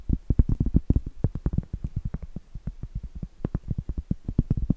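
Medium acrylic nails tap and scratch on a round, flat, solid cork trivet. Rapid, irregular dull taps come as short, muffled thuds with almost no ring. Most of the sound is low, with little bright content.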